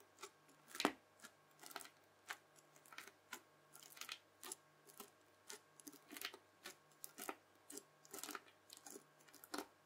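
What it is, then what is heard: Bubble slime pressed with a fork. A round, red, bubbly slime disc is stabbed and pressed again and again with the tines of a white plastic fork. Each press gives a short, crisp, bright crackle and squish with almost no ring, over a faint steady low hum. The result is a quiet, evenly spaced run of popping crunches.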